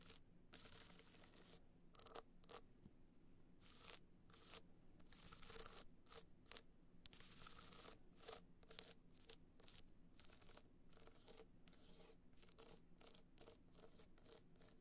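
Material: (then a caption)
Rhinestone. Long black-painted nails scratch and tap the surface of a small, rigid, hollow gold hard-shell evening clutch covered in glitter and rhinestones, lying on white fur. Quick, bright, crackling scratches come in short bursts, mixed with crisp clicks off the studs. A steady low hum runs underneath throughout.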